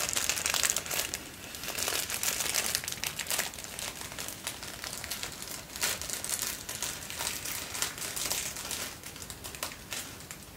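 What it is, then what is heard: Tissue paper being crinkled. Folded thin white tissue paper, held in both hands, is crinkled and rubbed between the fingers. It makes a steady stream of bright, dry crackling and rustling with almost no low end. Louder bursts of crinkling stand out every so often, and the sound fades a little toward the end.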